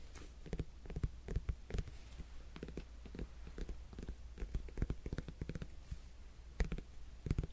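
A whole cantaloupe-type melon with a netted rind, solid and held beside the mic, is tapped and scratched with fingertips and nails. Many soft, short taps and scratchy brushes sound over a low, steady hum, with the taps thudding deep and dull and the scratches adding faint, bright rasps.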